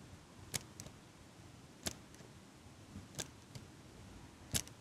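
A small metal eyelash curler held above the mic is squeezed and clicked by fingers with long pink nails. It makes nine short, bright metallic clicks at uneven intervals, some followed by a fainter second tick, over a quiet, steady hiss.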